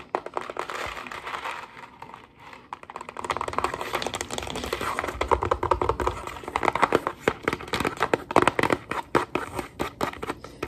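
A hollow Kraft mac & cheese cardboard box holding dry pasta stands upright on a counter and is tapped fast with fingertips and long nails. The result is a flurry of dry, papery clicks and taps with a crinkly midrange texture and very short decay. The tapping starts lighter and grows denser and louder after the first few seconds.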